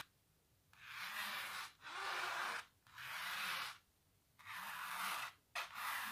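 Long natural nails scratch across a large textured painted canvas in five separate strokes. Each stroke is a dry, bright rasping rub with little low end, fading quickly into quiet gaps between passes.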